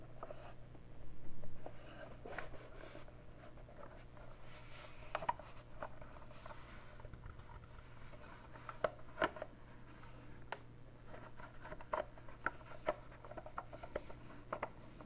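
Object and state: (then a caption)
Ribbed plastic cassette player. Fingertips and nails scratch and rub across the ridges of a handheld, hollow, dark plastic portable tape player with a ribbed, grooved surface. The result is a quiet, dry scratching and rasping texture dotted with small, sharp ticks and clicks, over a steady low hum.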